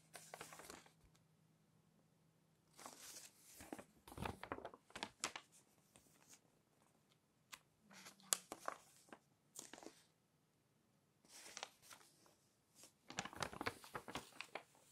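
Pages of an open glossy paper magazine are pinched and flipped by hand, then smoothed with the fingers. Bright, crisp crinkling and rustling come in short bursts separated by near-silent pauses, with a faint low hum underneath.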